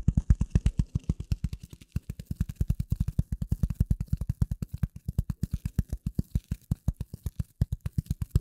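A rectangular gray polyethylene foam sheet, held over and in front of the microphone, is scratched and tapped with the nails of both hands. About 65 rapid, dull, deep thuds follow one another in a steady flurry, each dying away almost instantly, with faint soft scratching between them.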